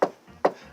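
Two knocks on a car door's sheet metal panel, each a short, dull knock centered around 540 Hz that dies away within a fraction of a second. Compared with the roof, the door panel sounds less resonant.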